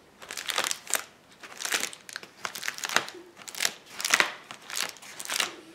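A flat sheet of clear plastic bubble wrap on a table is pressed with palms and fingers, popping the bubbles. Bright crinkling comes in repeated bursts of a second or so, scattered with sharp pops and crackles.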